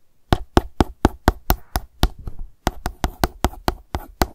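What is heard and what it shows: A hollow, light blue plastic sunscreen gel bottle lying on its side is tapped with the tip of one long acrylic nail. Sixteen short, dry knocks come at a quick, uneven pace, with a brief pause midway. Each tap has a low, hollow thump under a bright click and dies away almost instantly.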